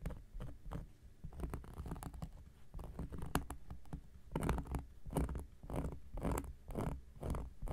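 A round, flat, solid cork coaster is held flat on a black surface with one hand and scratched with the metal blade tip of an X-Acto knife. Quiet, dry scratching strokes come in quick bursts, with a soft, low, muffled texture. Each stroke stops almost at once, with no ring.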